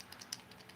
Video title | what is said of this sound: Rogers Unboxing Bait Better Than A Wiggle Wart Rock Crawler | you hear that faint rattle